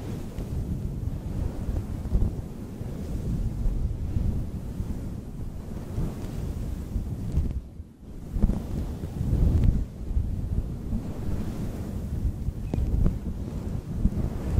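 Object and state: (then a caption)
Faux fur microphone windscreen being scratched. Long nails and fingertips of both hands scratch and rub a fluffy, soft pink faux fur windscreen fitted over a pink Pink Dawn Yeti USB microphone. The result is a dense, muffled, wind-like rumble concentrated in the deep lows, with almost nothing bright above it. It swells and eases throughout and drops briefly to near-silence around the eight-second mark.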